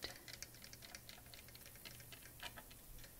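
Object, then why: Plastic replica sword. Fingertips and nails tap along the silver-coloured blade and the blue and gold hilt and guard of a large Master Sword prop replica, apparently hard plastic, held across the lap. The taps give quiet, rapid, bright ticking clicks that die away quickly over a low, steady background hum.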